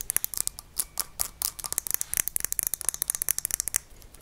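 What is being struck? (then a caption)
Small glass jar with metal lid, filled with salt. A small glass mason-jar salt shaker with a handle, full of white salt and topped with a metal lid, is held in one hand and tapped on the glass with long nails. Quick, bright clicks with a sharp glassy ring come in an uneven, rapid run, with little low end.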